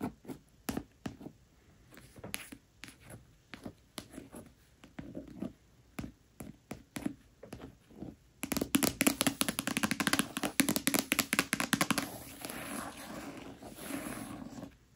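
Short, soft, irregular taps of a long nail on the cover of a red paperback copy of A Court of Thorns and Roses. Around the halfway mark they turn into dense, brighter scratching across the paper. The scratching fades to a quieter rustle as the hand comes to rest on the book.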